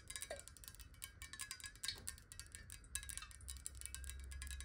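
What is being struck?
Glass water bottle, partly filled.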